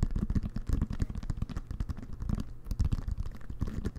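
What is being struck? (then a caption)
Inflated leather-covered American football. Fingertips and nails scratch and tap the pebbled leather-like cover of a full-size, inflated, hollow American football held in both hands. A steady run of quick, soft taps and scratches comes out as dull, hollow low thumps with almost no high end and no ring after each touch.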